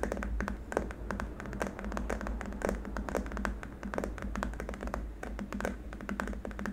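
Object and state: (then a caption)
Plastic keyboard wrist rest, solid. Both hands tap and lightly scratch with short nails on a long, flat, solid white hard-plastic keyboard wrist rest. Rapid, irregular dry taps with a dull, low-heavy body die out almost instantly, mixed with soft scratching over a steady low background hum.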